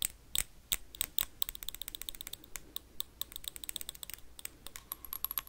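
Metal paperclips rapidly tap and scrape on a small, empty, hollow clear glass jar with a dark lid. A fast run of bright, sharp clicks and ticks rings with high glassy tones, each dying away almost instantly, over faint scratchy friction.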